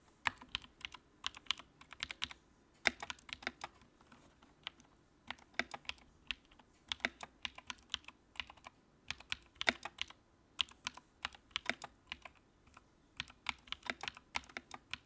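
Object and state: Plastic mechanical keyboard.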